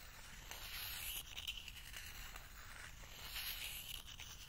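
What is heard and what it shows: A small wooden spoon scratches and scrapes along the inner wall of a small, empty, hollow bowl of spiral-wound lacquered bamboo held in one hand. The result is a quiet, continuous, bright raspy scraping that swells twice, with a hissy edge centered around 3 kHz over a faint low rumble.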